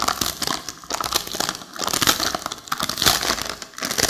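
A long, flat, printed plastic snack packet holding crisp seaweed sheets is held in both hands and squeezed and crinkled with long acrylic fingernails and fingertips. Bright, dense crackling rustles come in irregular bursts and fade quickly between squeezes.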